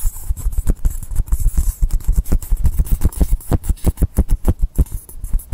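Fingertips and nails scratch and rub along the top edge and side of a long, solid blue polystyrene foam block. The result is a rapid, steady series of short, dry, muffled strokes that are deep and heavy in the low end, each quickly dying away.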